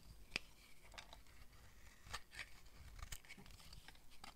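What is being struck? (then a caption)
Bar of soap scraped with a knife blade. A solid green oval bar of dry soap held in the hand is scraped with a utility knife blade, shaving off curls. Quiet, dry scratching strokes are heard, with sharp, bright ticks standing out above a soft low rumble.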